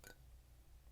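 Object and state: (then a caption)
Bisque-fired clay pottery, fired. A single tap on a bisque-fired clay pottery piece, lighter and slightly pink after its first kiln firing, gives a glassy, clinky strike. A bright ring near 1.5 kHz fades within about a tenth of a second over a steady low hum. This is the normal fired-clay sound, in contrast to the dull knock of unfired air-dried clay.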